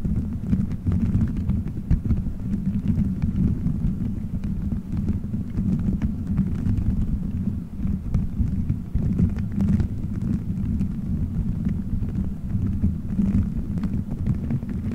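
Fingertips squeeze, rub and scratch colorful gelatin gummy bears stuck all over a microphone head in a solid dome shape. The result is a steady, muffled, low rumble of soft squishing and thumping that stays dull and dark throughout, with almost nothing bright.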